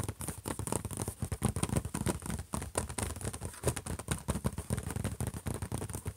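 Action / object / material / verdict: tap / closed laptop lid / unknown / none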